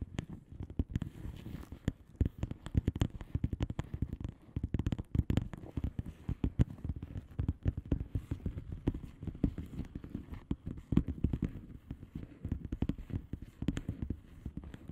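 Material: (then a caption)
Plastic. Long polished nails of both hands tap and scratch the bubbles on the plastic bubble wrap surface of a flat padded envelope. A rapid, dense stream of short, dry clicks and soft crinkly scratches continues steadily throughout, sitting mostly in the low range with occasional brighter ticks. No words are spoken.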